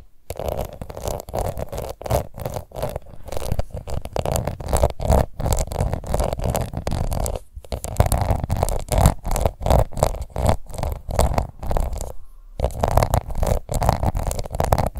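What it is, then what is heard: Plastic face powder compact. A small round pink plastic face powder compact, held in one hand, is scratched with long nails. The result is a steady run of dense, rapid scratching strokes with a low, rumbling body and a faint high edge, broken by brief pauses.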